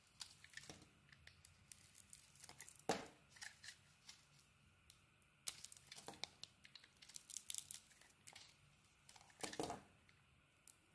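A solid bar of soap with a black outer layer and cream core is held in the hand and shaved with a utility knife blade. Many quick, dry scraping and cutting strokes crackle with bright, crisp edges, some louder slices standing out among softer scrapes.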